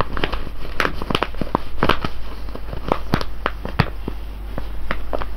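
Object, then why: Foil coffee bag of coffee beans. Fingertips and nails scratch and tap the top of a full, sealed silver foil coffee bag of whole beans lying on cloth. Quick, dry crinkles and sharp little clicks scatter over a steady low hum, with the taps dying away almost instantly.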